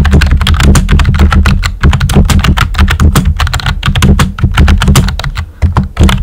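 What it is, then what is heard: Plastic computer keyboard. A full-size pink plastic computer keyboard with a hollow body and round white typewriter-style plastic keycaps is typed on with fingertips and short nails. Rapid, steady clacking keystrokes each land with a deep, hollow thump and a bright click on top. The typing eases briefly near the end before a last quick burst.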